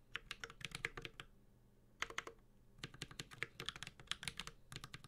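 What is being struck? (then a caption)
Mechanical keyboard with metal case and plastic keycaps. Fast, continuous typing with the fingertips of both hands on a Space65 Cybervoyager 65% mechanical keyboard with Holy Panda switches, an aluminum case and ABS keycaps. It produces crisp, bright clacks around 2 kHz with a soft low thock, each dying away almost instantly. Bursts of keystrokes are broken by two short pauses.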